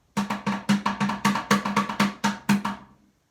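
A pail is tapped with sticks in a quick, slightly uneven run of about sixteen hollow knocks. Each knock carries a short resonant tone near 200 Hz with brighter ring above it. The taps fade out softly at the end.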